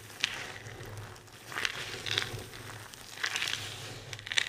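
A large pile of dry, multicolored soap shavings on a table is crushed and rubbed with both hands and fingertips with long red nails. It makes repeated bright, crisp crunching and crinkling bursts over a faint steady low hum, with quieter rustling between the bursts.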